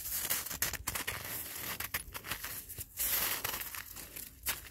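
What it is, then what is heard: Icy granular snow being scratched. Gloved fingertips rake and scratch an icy, granular snow surface on the ground, producing a steady run of bright, crisp crunching and scraping sounds. The texture is dense and irregular, with short gritty bursts rising and falling over about five seconds.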